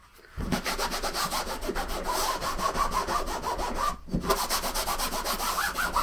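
A green microfiber cloth wipes and rubs across the top of a large, closed, hollow, soft-sided blue nylon suitcase resting on a wooden table. It makes a steady, rough, broadband rubbing swish with bright fabric texture. There is a short break near the four-second mark while the cloth is refolded, then the rubbing resumes.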